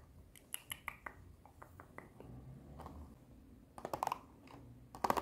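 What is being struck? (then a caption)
Clear plastic blister pack with cardboard backing. Long nails tap on a long clear plastic blister box with cardboard backing that holds small colorful dinosaur erasers. Short, dry, bright plastic clicks come in a scattered, uneven rhythm. They end in quick, louder clusters of rapid taps over a faint background hiss.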